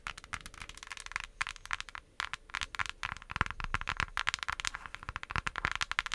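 Long acrylic nails tap and scratch the printed lid of a small, flat, closed pink cardboard eyeshadow palette. Rapid, crisp clicks mix with dry scratching, bright and sharp with almost no ring. There is a brief pause near the two-second mark before the tapping picks up again.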